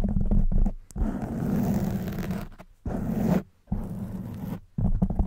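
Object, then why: Foam microphone windscreen. Long white nails drag and scratch over the top of a black foam microphone windscreen. This makes a muffled, low, rumbling scratching with a steady droning tone near 200 Hz, in five bursts separated by short silent gaps.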